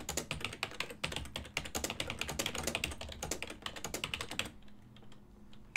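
Fingertips type quickly on a full-size black and silver plastic ergonomic desktop keyboard with hollow key switches, producing a fast stream of short, bright, clacky keystrokes over a faint low hum. The typing stops abruptly after about four and a half seconds, leaving near-quiet with a few soft taps and one last sharp keystroke at the end.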